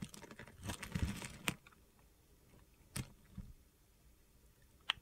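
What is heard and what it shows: A metal utility knife blade carves and scrapes small cubes off a solid yellow bar of soap held in the hand. A dense burst of gritty, crunchy scraping is followed by sharp, bright cuts that snap off with almost no ring, separated by quiet pauses and a soft scrape.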